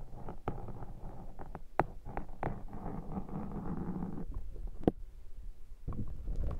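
A metal pick is brought to a black foam microphone windshield and scratched across the foam throughout. The result is a close, dense, low scratchy rustle broken by sharp, brief clicks, with short quieter gaps between strokes.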